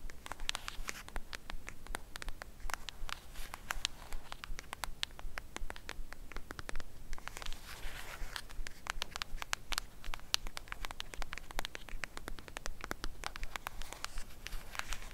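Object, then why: Thin cardboard eyeshadow palette case. Long acrylic nails scratch and tap along the edge of a flat, thin, black rectangular Batman-themed eyeshadow palette, likely a cardboard or paperboard case, held edge-on. A steady stream of quick, dry scratches and bright little ticks plays at a loose, uneven pace, each click dying away instantly over a soft low rumble.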